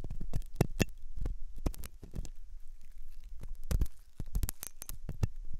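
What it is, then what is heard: Silicone dummy ear scraped with a metal hook. A steel dental hook scratches inside the ear canal of a white, solid, soft silicone dummy ear on a binaural microphone. Close, dry scratching and scraping comes in short bursts with crisp transients. The sound is mostly low, muffled rumble with occasional bright clicks.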